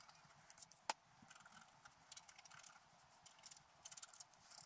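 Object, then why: Coated paper scratch art card scraped with a wooden stylus. A wooden stylus held in the fingers scratches the black coating off a flat scratch art card of paper or cardboard lying on a table, revealing colour while the other hand holds the card. The sound is a quiet run of dry, bright scratching strokes, with one sharper tick near the start and clusters of quick scrapes toward the end.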